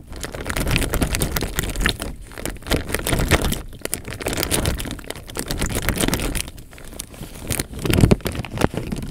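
Fingertips squeeze and crinkle the film of a clear plastic bag filled with water. Soft, continuous crinkling and crackling plays over a low, sloshing rumble as the water moves inside. The sound swells and eases in waves without a clear pause.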